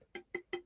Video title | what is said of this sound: Saturday Night Stream - Have a chat and a laugh! #livestream #livestreams 📱 | listen to that sad old dull sound